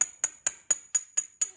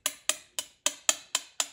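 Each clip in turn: First: Seven bright, high metallic taps on ceramic, each the same clear ping, marking an uncracked part. Second: Seven quick, bright ticks with almost no ring: a ceramic part with a hairline crack.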